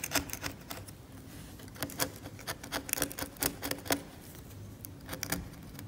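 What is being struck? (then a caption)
Steel scalpel blade on varnished oil painting on canvas. A steel scalpel blade scrapes the cracked varnish on an oil painting on canvas, leaving debris on the surface. The result is a series of short, sharp, bright scratching ticks with pauses between them over a faint low hum.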